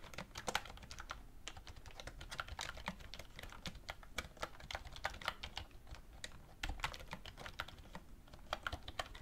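Both hands type continuously on a black plastic wireless keyboard with a hollow shell, resting on a wooden desk, as fingertips and medium-length red-painted nails tap the plastic keys. A steady stream of quick, dry, bright clicks stops almost instantly, with no ring, over a soft low background rumble.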